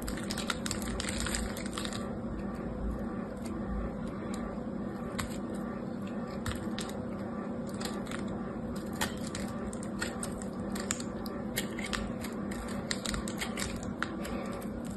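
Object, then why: Soap bar cut with a knife blade. A utility knife blade scrapes and cuts into the surface of a solid rectangular soap bar, cream inside with a red coating, held in one hand, with shavings scattered below. A steady, dense crunching and scraping runs throughout, dotted with sharp, bright crackling clicks.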